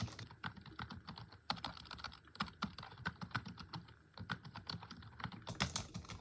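Rapid, continuous typing on a full-size black plastic computer keyboard resting on a wooden desk, struck with long acrylic nails and fingertips. The hollow plastic keys give off a quick stream of short, sharp clicks and clacks with bright edges and a low, hollow thump underneath, each dying away almost instantly.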